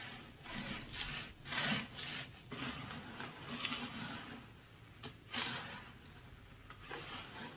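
Fingers with light nails rake and scratch through beach gravel of coarse sand and small gravel with a few larger smooth pebbles. The result is a steady, bright, gritty rasp that swells and fades in uneven strokes, with brief sharper scrapes standing out.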